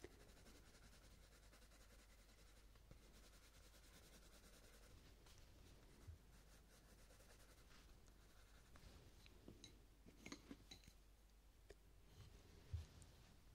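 A dark purple coloured pencil is scribbled and rubbed over the flower centre on a paper colouring book page. It makes a quiet, steady scratchy rubbing over a low hum, with a few sharper taps and scrapes toward the end.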